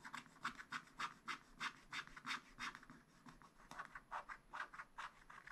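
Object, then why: Wax-coated scratch-art paper sheet scratched with a wooden stylus. A wooden stylus scratches across a black wax-coated scratch-art sheet in a spiral-bound pad. It produces a quick, uneven series of dry, raspy strokes, each a short bright scrape centered around 1 kHz with a breathy high hiss and almost no low end.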